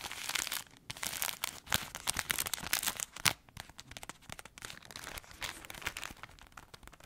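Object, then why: Crispbread pack in plastic wrap. Long acrylic nails scratch and tap a plastic-wrapped pack of crispbread crackers, giving a steady stream of bright, crinkly rustles and sharp clicks. The sound is thin and high with almost no low end. The loudest snap comes about midway before the scratching settles into softer crackle.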